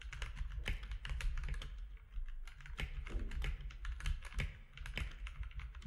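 Both hands type with their fingertips on a compact mechanical keyboard with plastic keycaps, making a rapid, continuous stream of sharp clacks. The keystrokes overlap with no pauses, and a low hum sits underneath them throughout.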